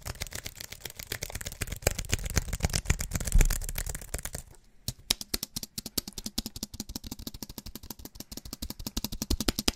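Fingers tap rapidly on the plastic keys of a slim aluminium and plastic wireless keyboard held upright. A dense, fast stream of sharp clicks with a heavy low thud builds to a loud burst, then drops out briefly near 4.5 seconds. Crisper, more evenly spaced bright taps continue to the end.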